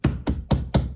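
Four low, hollow thuds as a plaster-on-wood-lath wall near a heating source is tapped, each dull knock dying away quickly with little high-end ring. The hollow sound shows the plaster is loose: its keys have dried out and broken, and it is pulling away from the lath, to be fixed with plate screws and glue.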